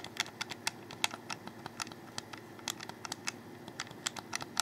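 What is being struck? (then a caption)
Plastic game controller. Fingers rapidly click the buttons of a hollow black plastic Xbox 360 controller held in the hands, making a quick run of about two dozen short, dry, bright clicks. Each click stops almost instantly, over a faint low background hum.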